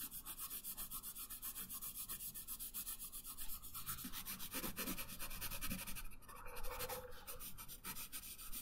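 A pink wooden colored pencil shades a thin printed paper coloring sheet lying flat on a wooden table, its tip rubbing in steady back-and-forth strokes. The result is a quiet, rhythmic scratchy rasp with a bright papery hiss. The strokes pulse quickly and evenly, growing slightly rougher toward the end.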